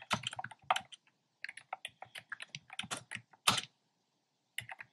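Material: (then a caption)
Plastic. Fingertips with short nails type on a black plastic keyboard with hollow, round retro-style plastic keycaps in cream, pink and red. Quick, bright, clacky taps come in uneven bursts separated by brief pauses, each tap dying away almost at once.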